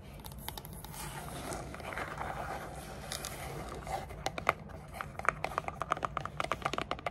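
Long dark nails scratch and tap the sides of a small, hollow, grey textured rigid cardboard gift box with a lid. A steady, soft scratchy rustle fills the first few seconds, then gives way to a quick series of sharp, dry taps with a bright, hollow click and almost no ring.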